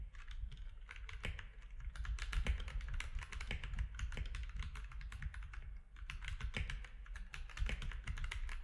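Fingertips of both hands type quickly on a compact mechanical keyboard with grey, white and orange plastic keycaps. Dense, short, dry plastic clacks run continuously over a steady low hum. The typing eases briefly near the six-second mark before resuming.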